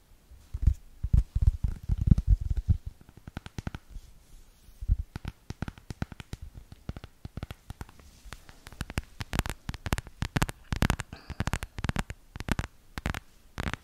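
Long red acrylic nails tap and scratch the back and sides of a small, solid smartphone in a black hard plastic case held close to the microphone. The result is a dense stream of quick, dry clicks and soft thumps with a heavy low-end body, mixed with brief scratchy strokes. Every tap is short and dies away almost instantly.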